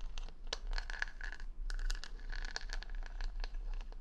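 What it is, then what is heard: Plastic rhinestones on a wooden hair brush. Long nails scratch and tap the plastic rhinestone stickers covering a wooden paddle hair brush held against the mic. Quick, bright clicks and scrapes come in a dense, irregular stream, many carrying a short ringing tone near 1.7 kHz. A steady low hum runs underneath throughout.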